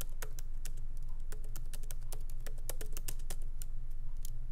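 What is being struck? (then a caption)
Laptop keyboard with plastic keycaps. Fingertips of both hands lightly tap the black plastic keycaps of a MacBook Pro keyboard set in an aluminum body, resting on a wooden desk. Quick, uneven clicks with bright, sharp tops sound at a steady typing pace over a constant low hum.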